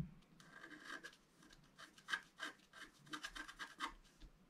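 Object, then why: Black-coated scratch art card scratched with a wooden stylus. A wooden stylus scratches continuously across the coating of a flat, black-coated scratch art card, about A4 in size, lying on a table. Quiet, dry scraping comes in short repeated strokes, with a gritty midrange centred around 1.5 kHz and bright, hissy edges.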